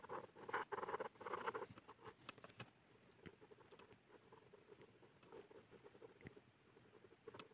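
A hand scratches the tip of a blue plastic ballpoint pen across a flat white paper sheet lying on a hard surface, hatching fast strokes to draw the hair of a face. Dense, scratchy patter comes in loud bursts for the first few seconds, then settles into quieter, lighter strokes with brief dry taps.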